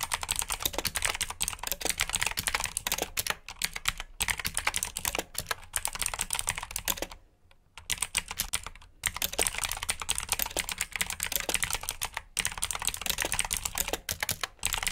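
Fingertips type steadily on the keycaps of a black plastic mechanical keyboard with blue switches, giving rapid, bright, crisp clicks. The typing runs with brief pauses, the longest near the middle of the clip.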